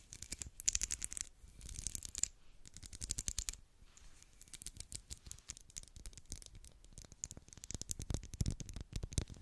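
Long black acrylic nails scratch and run over the ridged surface of a solid, medium pink twisted-ridge wax pillar candle. Dense, dry, bright scratching comes in rapid clusters of short strokes with no ring, under a low thumping rumble.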